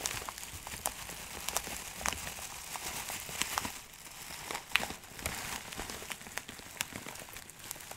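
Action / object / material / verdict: scrape / plastic zip bag of dried herbs / plastic / none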